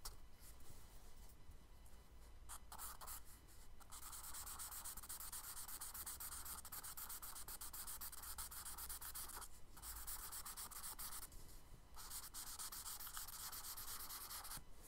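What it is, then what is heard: Charcoal hatching on kraft paper. A charcoal stick makes rapid back-and-forth hatching strokes on a brown kraft paper sketchbook page, producing a dense, bright, scratchy rasp over a faint low hum. The scratching runs almost continuously, broken by a few brief pauses where only the quiet low background remains.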